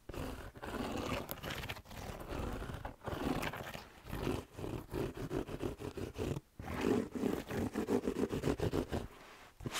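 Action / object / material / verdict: scrape / suede slipper shoe with rubber sole / suede / none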